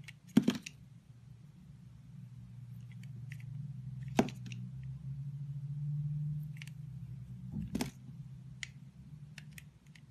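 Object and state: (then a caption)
Bar of soap being cut. A hand with pink nails holds a solid rectangular rainbow-striped soap bar while a green-handled utility blade slices pieces off it. Sharp, crisp cutting snaps ring out with bright edges, separated by faint scraping ticks over a steady low hum.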